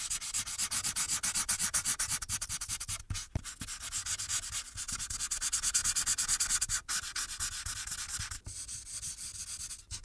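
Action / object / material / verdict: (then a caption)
scrape / paper sheet rubbed with a marker tip / paper / none. A marker held in the hand rubs its tip in quick back-and-forth strokes across a thin paper coloring sheet resting on a clipboard. The result is a steady, bright, scratchy rubbing made of rapid short strokes, broken by a few brief pauses.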